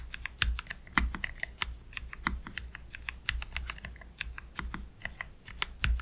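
Fingertips of both hands slowly type on a black Keychron K3 Pro low-profile mechanical keyboard with Gateron Red low-profile switches and plastic keycaps, resting on a desk mat. A steady stream of short, crisp, bright clicks and clacks is heard, each dying away quickly, over a faint low hum.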